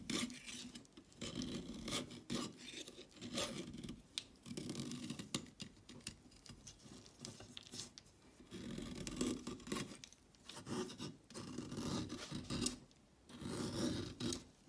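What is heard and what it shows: A solid orange chalk stick is scraped with a craft blade, giving a dry, rasping shave. The strokes come in repeated bursts of gritty scraping with a bright, hissy edge over a low-mid body, each ending almost at once with no ring.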